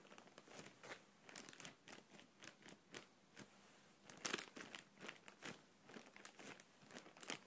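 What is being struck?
Plastic air cushion packaging pillow.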